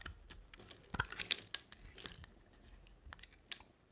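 A box-cutter blade scrapes and carves a solid rectangular cream bar of dry soap with a black coated rim. It makes a quick, irregular run of crisp, bright crunching scrapes with sharp ticks and soft crumbly rustle in between. The sound is quiet and close.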